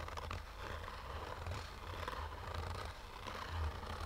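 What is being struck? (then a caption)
Fabric-covered hard-shell sunglasses case. Short fingernails slowly scratch a black, oval, fabric-covered hard-shell sunglasses case with a textured surface and a hollow, rigid shell. The result is a steady, soft, scratchy rasp over a low, hollow rumble, with little high-end brightness.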